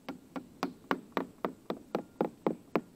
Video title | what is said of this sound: Inspection Part 2 (ORCA Rebuild Ep. 3) | it sounds real dull as you get up here